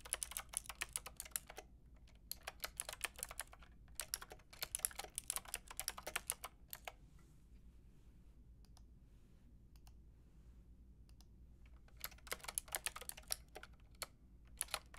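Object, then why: Plastic mechanical keyboard with round keycaps. Fast typing on a white and pink Lofree mechanical keyboard with round plastic keycaps, struck with long painted nails and fingertips. Bright, crisp clicks and taps come in dense bursts, separated by a quiet stretch in the middle with only a few scattered clicks.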